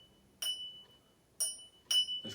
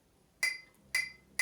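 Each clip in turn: First: lead crystal glass, genuine crystal ring. Second: ordinary glass decanter, dull (not crystal).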